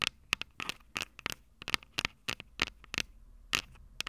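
Long purple nails scratch and scrape the small, hollow, silver metal microphone capsules of a Tascam DR-05 recorder. About sixteen short, bright, crackly scrapes are heard, with a faint ring around 2.2 kHz and almost no low end.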